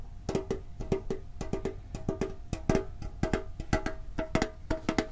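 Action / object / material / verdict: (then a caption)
tap / thin sheet-metal tin with lid / sheet metal / none. Fingertips tap quickly and irregularly on a hollow red and blue printed metal Pokemon card tin with a lid, close to the microphone. Each tap is a short, dry knock with a hollow tone around 390 Hz and a faint higher ring, fading almost at once. The taps fall in uneven clusters throughout the clip.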